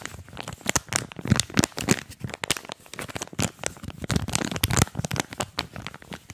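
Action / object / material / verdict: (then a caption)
scrape / cardboard and plastic blister pack / plastic, cardboard / none. A small earphone retail package, a printed card backing with a clear plastic blister, is held in both hands while the plastic is crinkled and squeezed and the card is scratched with fingers. The result is a fast, dense run of sharp crinkles and crackles, with bright clicks over soft, low handling thumps. Each snap stops almost instantly.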